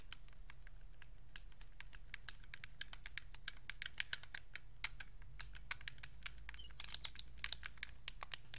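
Fingers click the shoulder buttons and triggers on the back of a white Xbox 360 wireless controller with a hollow hard plastic shell. A rapid, irregular run of short, dry, bright clicks plays over a steady low hum, with a few sharper clicks standing out.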